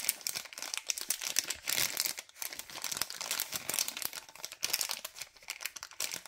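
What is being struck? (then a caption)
LDPE plastic bag of cable ties. Fingers crinkle and squeeze a white LDPE plastic bag of cable ties, making a dense run of sharp, bright crackles and rustles with almost no low end. The crinkling swells and fades in quick bursts over about six seconds, each snap dying away almost instantly.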